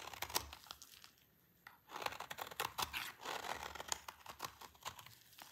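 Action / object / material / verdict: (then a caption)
scrape / bar of soap cut with a blade / soap / none. A solid oval bar of dry green soap, held in the hand, is cut and scraped with a utility knife blade into shavings. Dense, bright crinkly scraping and crunchy ticks fill the clip, with a short near-silent pause just before the two-second mark before the scraping resumes.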